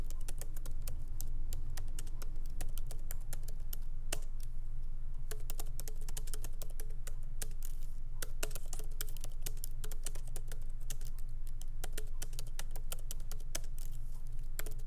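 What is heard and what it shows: A MacBook Pro laptop keyboard with black plastic keycaps in an aluminum body, resting on a wooden desk, is typed on lightly with the fingertips of both hands. Quick, soft, irregular key clicks patter steadily over a constant low hum.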